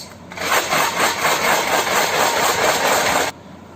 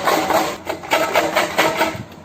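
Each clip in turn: First: About three seconds of dense, steady rattling from dried kidney beans shaken inside a small tin jar. Second: A loud, bright metallic rattle in rhythmic bursts as a tin is shaken, with coins jangling inside.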